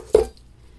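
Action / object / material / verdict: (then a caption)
tap / bath bomb in a plastic mold / plastic / set. A pumpkin pie fall bath bomb sitting in its mold is tapped lightly, making a short, dull, mid-pitched knock that dies away almost at once. The changed tap sound shows the bath bomb is set and ready to lift off, and it then comes out of the mold whole.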